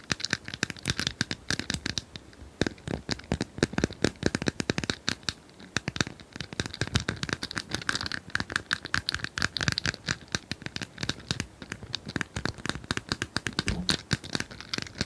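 Long nails scratch and tap rapidly on a small plastic cylindrical puzzle toy with colored tiles, which is likely hollow. The result is a dense, continuous run of short, dry clicks and crinkly scratches that are bright and crisp, each dying away almost instantly.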